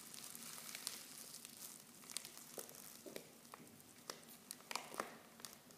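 Hands crinkle and squeeze a silver foil Pickwick tea pouch half full of loose tea leaves. Bright, dry crackling rustles run throughout, with sharp short snaps standing out.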